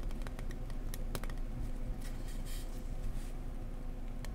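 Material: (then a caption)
Foam board. An insulation board is tapped gently up close with fingers, mixing soft tapping with some scratchy taps. Quick, dull, clicky taps sit over a steady low rumble, with faint bright scratching brushes in between. Each tap dies away almost instantly.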